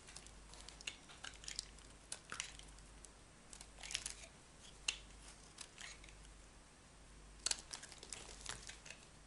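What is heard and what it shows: A metal utility knife carves thick slices off a solid, dry oval bar of yellow soap held in the palm. Quiet, bright, crisp scraping and crackling shaves come in irregular bursts, with sharp little snaps as pieces break away. There is no talking.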